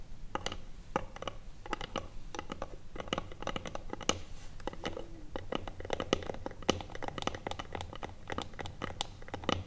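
Long acrylic nails rapidly tap and scratch the lid of a small hollow wooden box with a metal clasp, lying flat. The sound is a dense, irregular stream of sharp, dry clicks with bright edges and a hollow mid-range knock, mixed with brief scratchy strokes. A steady low hum runs underneath throughout.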